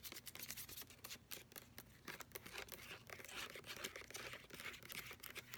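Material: Plastic.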